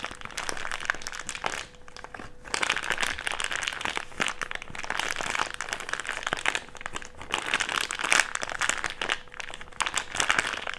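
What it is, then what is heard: Thick clear plastic bag being crumpled. A crumpled wad of an empty, thick, clear plastic bag is rubbed between the palms, giving a dense, bright crinkling full of sharp crackles. The rustling runs almost continuously, with a short quieter gap around two seconds, over a faint steady low tone.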